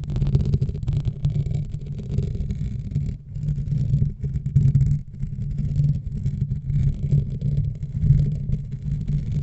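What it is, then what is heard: Foam microphone windscreen being scratched. A black foam microphone windscreen is scratched and gripped with the fingertips and nails of both hands. The result is a dense, muffled, low rumbling scratch and rustle that continues throughout with uneven swells, with almost no high content.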